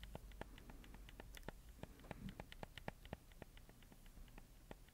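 Fingertips press, click and tap the buttons and joysticks of a black handheld PS4 controller with colored buttons and a hollow plastic shell, held in one hand close to the mic. The result is a quiet, steady run of sharp, dry plastic clicks with a bright edge and no ring, over a faint low rustle of handling.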